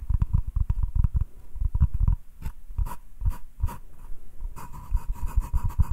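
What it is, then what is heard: Wooden cutting board. Both hands scratch the surface of a solid butcher-block wooden cutting board, held flat, with short fingernails. Quick, dry scratching strokes come in uneven bursts with a dull, low body, some brighter raspy strokes toward the end, and a faint steady tone underneath.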